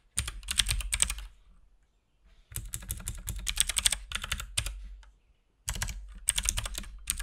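Fingertips of both hands type rapidly on a compact RGB-backlit mechanical keyboard with plastic keycaps and a hollow case. Three dense bursts of bright, clacky key presses with a deep hollow thump beneath are separated by brief pauses. Each keystroke is short and dry with almost no ring.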